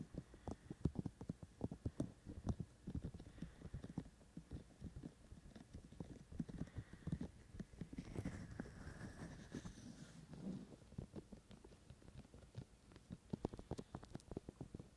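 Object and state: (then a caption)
Fingertip tapping on silicone microphone ears. Both hands tap with their fingertips on the white silicone ears of a binaural microphone, making rapid, soft, dull low thumps. Around the middle, the tapping briefly gives way to a brushing, rustling texture with a faint brighter hiss, then the quick, irregular taps return.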